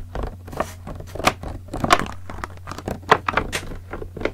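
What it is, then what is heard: Plastic water bottle. Fingertips tap the sides of a large clear green PET plastic bottle with a red cap, partly filled with liquid and held in one hand. A quick, irregular run of crisp, hollow plastic taps and light crackles dies away almost instantly, over a steady low hum.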